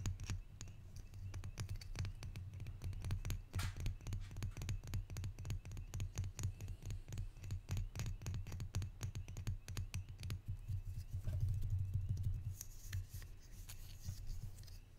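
A small hollow wooden barrel-mug pepper shaker with copper bands and a side handle is held in one hand and tapped quickly with the fingertips and nails. The result is a rapid, uneven stream of soft, low, hollow knocks, with brief bright clicks from the nails on top.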